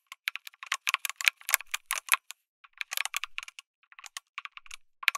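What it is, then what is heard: Mechanical keyboard typing. Fingertips type on a lit mechanical keyboard with an aluminum case and plastic keycaps. Quick, bright, clacky keystrokes come in bursts with short pauses between them. Each keystroke is dry, with no ring and no low-end thump.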